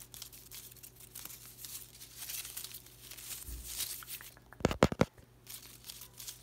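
A hand brushes and crinkles the thin plastic leaves of an artificial potted willow plant on bamboo-like stems, making a steady dry rustle over a faint low hum. Near the end comes a brief burst of louder, sharp crackles, then the soft rustling resumes.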